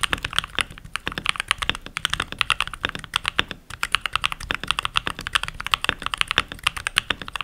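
Fingertips with short nails, rings on the fingers, type continuously on a full-size backlit mechanical keyboard with pink plastic keycaps. About 55 quick, crisp plastic clacks come in a steady, uneven stream, each one bright and snappy with very little low end and almost no ring.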